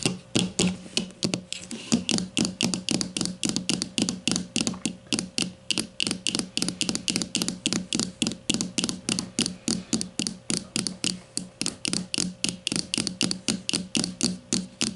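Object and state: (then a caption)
Plastic deodorant stick. Long matte nails tap the casing of a grey plastic deodorant stick lying flat, barcode side up. About 70 quick, bright plastic clicks come in a fast, uneven run, each dying away almost instantly over a faint steady hum.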